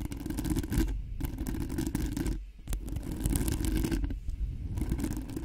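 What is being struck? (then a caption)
Metal mesh microphone grille. Long nails on both hands scratch quickly and aggressively across the hollow metal mesh grille of a cream-colored Blue Yeti-style microphone. The result is a dense, continuous low rumbling scrape with brief drops in the sound around 1, 2.5 and 4 seconds.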